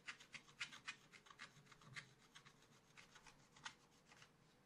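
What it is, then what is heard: Scratch art paper sheet. A wooden stylus scratches the black coating off a scratch art paper page in a small spiral pad in quick, repeated strokes. Each stroke gives a short, dry, bright scraping rasp with little low end, at a fast but uneven pace, louder at the start and softer toward the end.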